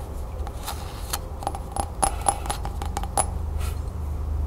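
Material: Glazed ceramic.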